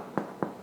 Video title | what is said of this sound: Cooking With Aron: Bread Making | it should sound hollow